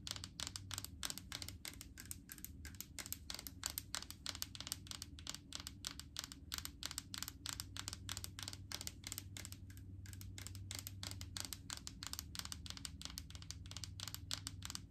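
Long acrylic nails tap rapidly and irregularly on the side and green plastic screw lid of a large plastic jar full of white solid coconut oil. Each tap is a short, bright click that dies away almost instantly. A steady low hum runs underneath throughout.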